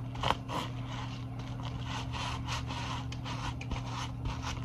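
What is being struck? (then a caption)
Sequin-covered fabric pouch. A small soft fabric pouch covered in iridescent multicolor plastic sequins is held close and rubbed and scratched with fingers and nails, flipping the sequins. The result is a continuous run of dry, bright, rustling scrapes in quick repeated strokes over a steady low hum.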